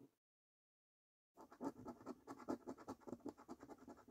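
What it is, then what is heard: Paper scratch card being scratched. A coin scratches the latex coating off a thin, flat paper £15 National Lottery "3x £1 Million Snack Stack" scratchcard lying on a table. After a brief faint sound and about a second of silence, roughly fifteen quick, uneven rasping strokes follow in a rapid rhythm. Each stroke is a dry, papery scrape with a low-mid body and a bright edge.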